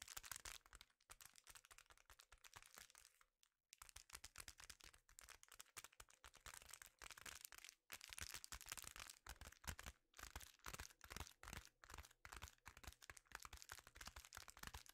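A sheet of reflective foil bubble insulation held against the chest is scratched and tapped with fingertips, with some crinkling. Dense, rapid bright crackles and soft taps run throughout, with brief pauses just before the 4-second and 8-second marks.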